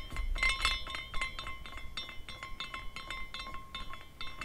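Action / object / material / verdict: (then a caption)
shake / small glass carousel figurine with hanging glass pieces / glass / none. A small decorative glass carousel figurine is spun by hand, and its hanging glass horses clink against the glass structure in a quick, irregular run of bright, short-ringing tinkles. The high glassy chimes center around 3.6 kHz, with a faint steady tone near 1 kHz underneath and a low rumble beneath it all.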